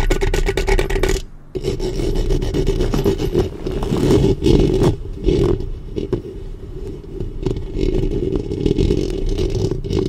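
Long painted fingernails of both hands scratch and rub directly on the metal mesh grille of a black studio USB microphone with a hollow head. The result is a dense, continuous, close-up scraping with a heavy low rumble and a steady hollow resonance, broken only by a brief pause about a second in.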